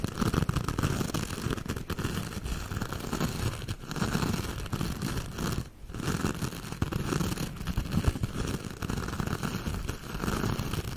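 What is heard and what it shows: A hand-sized silver metallic mesh scrubber sponge, held up in the air, has its surface scratched and tapped with long acrylic nails. The result is a dense, continuous crackly scratching with a heavy low rumble, steady throughout apart from a brief drop just before the six-second mark.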